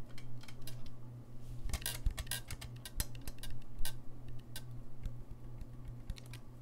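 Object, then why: Brass saxophone keys. Fingertips click the keys of a gold-lacquered brass saxophone held low, making a rapid, irregular run of short, dry clicks and taps. A steady low hum sits underneath throughout.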